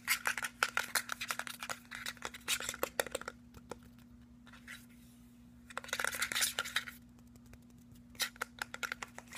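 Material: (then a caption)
Plastic. A tall, hollow, white cylindrical plastic skincare bottle with a silver metallic cap is held in hand and quickly tapped and scratched with fingernails along its body. Rapid bursts of bright, clicky taps and raspy scratches come in busy clusters, separated by short pauses, over a faint steady low hum.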